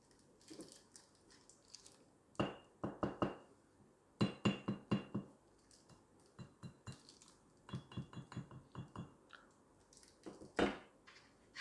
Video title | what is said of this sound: Perak Batangan Metalor swiss 1 Kilogram - silver bar. Investasi yang bagus | silver mempunyai bunyi yang unik